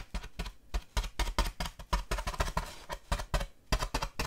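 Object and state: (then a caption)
Styrofoam slab. Long dark nails scratch and tap along the surface of a large, solid styrofoam packing slab held at an angle. A quick, uneven run of short, dull taps with a low thump underneath is mixed with brief, dry, squeaky scratches that stop almost instantly.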